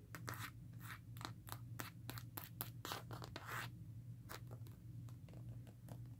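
Long nails scratch along the ridges of a smartphone's black rugged plastic and rubber case and tap its surface. The ridged plastic back gives a quick run of dry, clicky scrapes and taps over a steady low hum.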